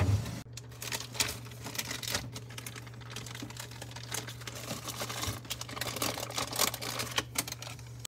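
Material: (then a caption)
Metal. Rapid, light tapping on a refrigerator, producing a steady patter of short, dry clicks over a constant low hum. The taps come in quick, irregular bursts, sounding much like typing.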